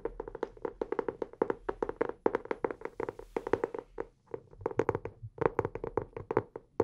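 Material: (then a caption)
Cardboard. Fingertips tap and scratch the cover of a solid, closed teal hardcover notebook held upright in both hands. Roughly forty quick, dry taps come in uneven bursts, each a short knock centered near 450 Hz with a faint bright edge and almost no ring. Softer scratching fills the brief gaps between them.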